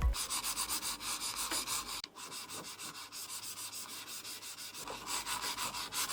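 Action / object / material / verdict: scrape / computer mouse sliding on a glass mousepad / glass / none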